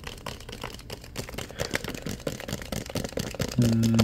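Fingertips rapidly tap and scratch a clear plastic water bottle with a cap, partly filled with water and held in the hands. The result is a fast, uneven run of short, dull, hollow clicks and scrapes. A louder, steady low tone comes in near the end.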